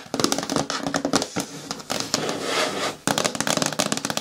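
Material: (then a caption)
Plastic. Long nails rapidly tap and scratch the lid of a green hard plastic bin with a lid that lies on its side. Quick, clicky taps with a hollow tone give way to a bright, sustained scratching stretch in the middle, then another burst of fast tapping.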